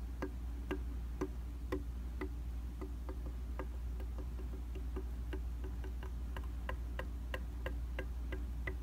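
A round tabletop makeup mirror of solid flat glass is tapped with the light-colored tips of a small black-handled tool. The taps make sharp, short glassy ticks at a fast, uneven tick-tock rhythm, about two per second, over a steady low hum.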